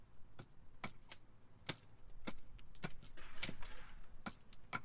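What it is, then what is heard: Cherry wood spoon blank being chopped with an axe. A steel carving axe repeatedly strikes a solid, split cherry wood spoon blank about forearm length, held upright on a log chopping block, chopping and splitting the wood. Short, sharp wooden knocks with quick decay sound in a steady rhythm over a low rumbling background, and a brief brighter rasp of splitting wood comes midway through.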